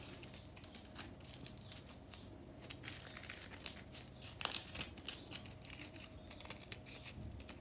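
Long nails scratch and flick at a small, solid pink remnant of a compressed powder bath bomb, with powder on the hands. The result is a quiet run of dry, bright scratching and crumbly crackles, broken by sharp ticks with almost no ring.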